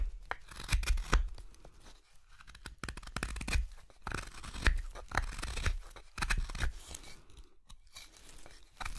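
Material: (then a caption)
Wood. A steel knife whittles the solid pale wood handle of a wooden spoon blank of light carving wood, held in both hands, in short paring cuts. Dry, crisp shaving and scraping strokes come in quick, uneven bursts with soft low thumps beneath them and brief pauses between runs of cuts.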